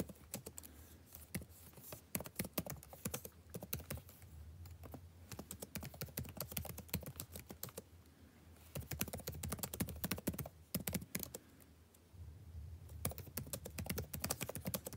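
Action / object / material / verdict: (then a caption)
tap / plastic laptop keyboard / plastic / none. Fingertips of both hands type fast on a backlit laptop keyboard with plastic keys, producing rapid, short, dry clicking taps over a faint low hum. The typing comes in dense bursts, easing to softer, sparser taps around the 4-, 8- and 12-second marks before picking up again.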